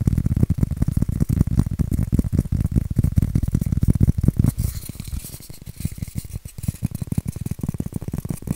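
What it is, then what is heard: Styrofoam scratched. Fingernails scratch and rub a white styrofoam shape, making a dense run of rapid, gritty scratches with a heavy low thump in each stroke. About halfway through, the strokes turn lighter and quieter, with a faint high hiss, before the steady scratching continues to the end.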